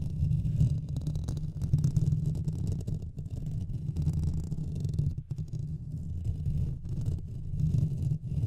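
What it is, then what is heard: Metal mesh microphone grille being scratched. Fingertips and nails of both hands continuously scratch and rub the hollow metal mesh head of a Blue Yeti microphone. The result is a steady, dense, low rumbling scrape, with nearly all its energy in the deep bass and faint crackly texture above, rising and falling slightly in loudness throughout.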